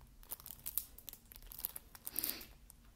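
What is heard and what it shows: Fingertips scratch and tap the cellophane-covered back cover of a shrink-wrapped plastic Xbox game case lying on a wooden table. The result is quiet, bright, crinkly rustling with scattered short ticks, and a slightly fuller scratch near the end.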